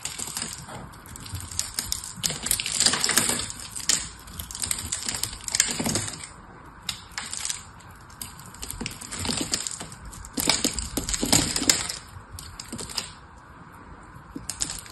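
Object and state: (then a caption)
Dry soap bar. A hand-held, solid lilac soap bar, partly wrapped in silver foil, is carved with a metal knife blade into crisp chunks. The result is dense, bright crackling and scraping in bursts of loud activity separated by quieter stretches of faint ticking. Each sharp crunch dies away almost instantly.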